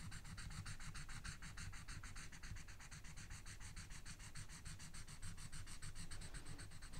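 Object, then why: Felt-tip marker on a paper sheet over a book. A felt-tip marker colors in small, rapid scratching strokes across a paper coloring sheet resting on a book, while the other hand, with long red nails, holds the sheet still. The strokes form a fast, steady run of bright, dry scratches over a constant low rumble at a quiet level.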